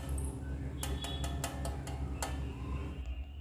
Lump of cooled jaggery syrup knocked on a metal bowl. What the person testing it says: గిన్నెకి వేసి కొడితే సౌండ్ వస్తుంది ఇలా